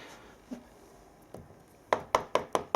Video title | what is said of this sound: DIY: Plaster repair - damaged lath and plaster | If you knock these, look, and it sounds hollow, then basically the plaster's loose.